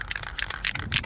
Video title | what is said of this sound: Rust repair on 2014 Ford F150 Quick and Easy Project (ROCKER PANEL) | make sure you can hear that little ball inside rolling